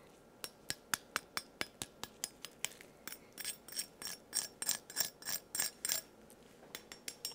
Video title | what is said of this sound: You Won't Believe The SECRET Ingredient In The World's Crispiest Fried Chicken | don't get a whole lot crispier than that